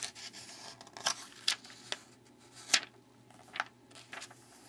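Fingertips rub and tap the open spread of a glossy paper magazine lying on a wooden table, then turn the page. Soft, bright papery rustles are broken by several short, crisp ticks and swishes at uneven intervals, all high and airy with almost no low end.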